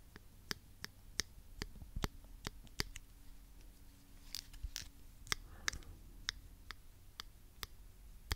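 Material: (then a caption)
Plastic. A small pink plastic claw hair clip, hollow with toothed jaws, is squeezed and clicked with the fingers close to the microphone. About 17 sharp, bright clicks are heard, each dying away instantly, spread unevenly over a quiet, low background hum.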